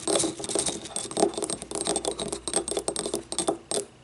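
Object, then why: Small ribbed ceramic cup. Long nails tap and scratch the wall of a small, hollow, yellow ribbed ceramic cup that stands upright and empty. The result is a rapid, uneven run of dry clicks and raspy scrapes with a faint hollow tone near 400 Hz and bright, high ticks. Each tap dies almost instantly.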